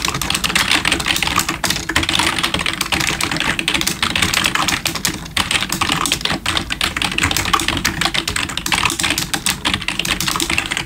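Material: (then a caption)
Plastic. Both hands type with their fingertips on a full-size black plastic gaming keyboard with RGB backlighting and likely membrane keys, resting on a wooden desk. A fast, steady stream of short, bright plastic key clicks and taps runs throughout, each dying away almost instantly.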